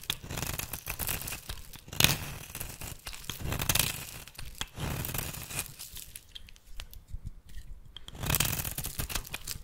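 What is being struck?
Bar of soap shaved with a blade.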